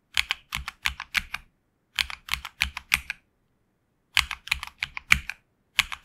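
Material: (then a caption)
Plastic. A HyperX Alloy Origins Core tenkeyless mechanical keyboard with HX Red switches and grey and red PBT plastic keycaps, resting on a desk mat, is typed on with the fingertips of both hands. About 26 short, bright, crisp keystrokes come in quick bursts separated by brief pauses, each tap dying away almost instantly with very little low-end thock.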